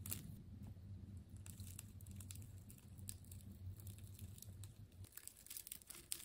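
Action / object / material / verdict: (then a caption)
scrape / wound plastic tape ball / plastic tape / none. A hand-sized, silver-gray ball of wound clear plastic tape is sliced with a utility knife blade, giving bright, quick crinkling and tearing crackles. A steady low hum sits underneath for the first five seconds and then drops away while the crackling continues.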